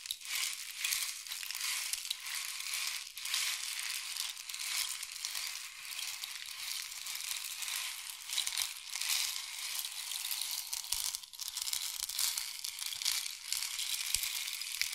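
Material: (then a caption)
Wood. A long, hollow, painted wooden or bamboo rain stick is tilted and turned in both hands, sending its pellets flowing inside. The result is a steady, bright, dense pattering hiss with almost no low end, swelling and easing slightly with each turn for the whole clip.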